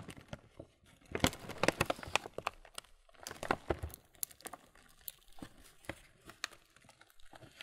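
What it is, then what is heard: Full plastic cereal bag being crinkled. A full printed, laminated plastic Kellogg's muesli bag is rubbed and squeezed by hand on its front and back. The result is a stream of crisp, bright crinkles and crackles. Louder bursts come around one to two and a half seconds and again near three and a half seconds, with softer rustling in between.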